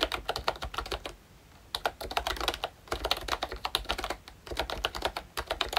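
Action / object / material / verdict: tap / plastic membrane keyboard / plastic / none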